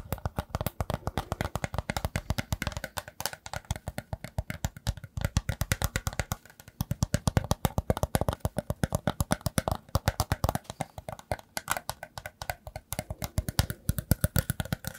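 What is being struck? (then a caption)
Woven rattan basket. A hollow, round woven rattan basket is held up in one hand and scratched with the fingertips and nails of the other along its woven strands. The result is a fast, uneven stream of short, dry, scratchy clicks with a hollow, low-heavy body. There is a brief lull about midway before the scratching picks back up.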